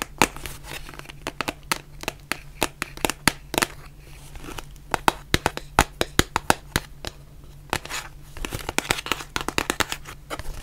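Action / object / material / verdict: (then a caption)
tap / cardboard face mask box / cardboard / none. Long nails tap and scratch a white printed cardboard face mask box, giving many sharp, dry clicks with brief papery scratching between them. A low steady hum sits underneath.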